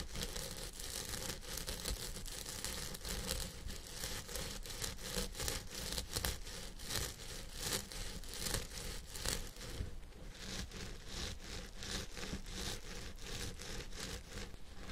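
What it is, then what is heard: Synthetic fiber wig being scratched. Fingertips and nails scratch the synthetic fibers at the crown of a purple synthetic wig on a head form. A steady run of quick, raspy scratching strokes gives a bright, brushy rustle over a low, constant rumble, with slightly softer, more spaced strokes toward the end.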